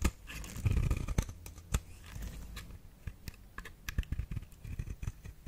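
A metal blade shaves thin curls off the face of a solid pink flower-shaped bar of soap held in the hand. The result is a quick series of short, dry scraping and crisp cutting sounds with soft, low-heavy thumps and brief bright ticks, each dying away almost instantly.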